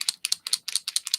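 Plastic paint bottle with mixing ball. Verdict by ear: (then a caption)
Nearly empty. A nearly empty plastic paint bottle with a BB mixing ball inside is shaken in quick bursts, and the ball rattles freely with bright, sharp clicks. The free rattle means there is hardly any paint left; a brand-new bottle would only slosh, with no BB heard.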